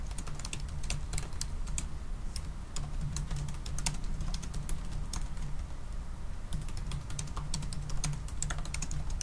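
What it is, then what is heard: Laptop keyboard being typed on. Both hands type continuously with their fingertips on the black plastic keys of a silver aluminium laptop keyboard. A quick, uneven stream of light, bright clicks runs throughout over a steady low hum.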